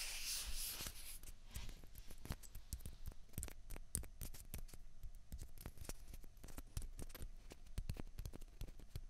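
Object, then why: Plastic ping pong balls. Fingers rub and grip one small hollow white plastic ping pong ball in each hand. A bright rubbing hiss opens the clip, then gives way to a steady stream of quick, dry plastic clicks and taps with a soft low thump beneath them. Each click dies away almost instantly.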